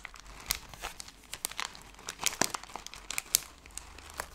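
A hand-sized Skittles candy bag made of plastic film is held in both hands and crushed and crinkled with fingertips and long nails. It gives a steady run of sharp, bright crinkles and crackles that die away almost instantly, over a faint low background.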